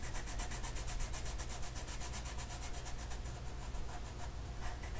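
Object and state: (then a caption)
Colored pencil strokes on a paper sheet. An orange colored pencil makes repeated coloring strokes across a flat paper mandala sheet. Each stroke gives a soft, scratchy rub with bright, airy texture. A steady low hum sits underneath throughout.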